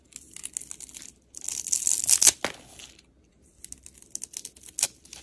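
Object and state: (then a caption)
Bar soap being carved. A box-cutter blade scrapes and carves curls and chips off a solid white and pink layered bar of soap held in hand. Crisp, bright scraping and crackling comes in short bursts: a run of quick ticks, a louder sustained scrape with a sharp snap, a brief pause, then more light ticks and a final crisp cut.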